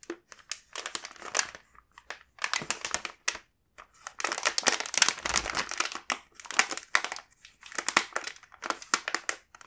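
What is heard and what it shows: A full plastic bag of kinako mochi snacks is squeezed and rubbed by hand, giving bright, dry crinkling and crushing crackles. The sound comes in several bursts separated by short pauses, with the densest, loudest stretch in the middle.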